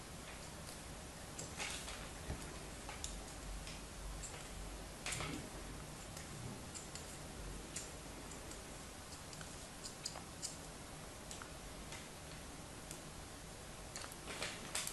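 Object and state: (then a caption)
Molded kinetic sand block being scored. A thin metal knife blade scores and scratches crosshatch lines into the surface of a hand-sized, solid, compacted red kinetic sand block held on a palm. The clip is quiet, with soft, crisp scraping ticks that come at irregular intervals and fade quickly, heard over a steady low background hum.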